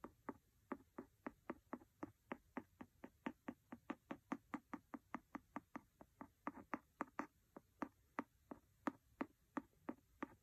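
A pencil taps a paper book about 40 times in a quick, fairly steady rhythm. Each tap is a short, dry knock with a low woody body that dies away almost instantly, leaving a quiet background between hits.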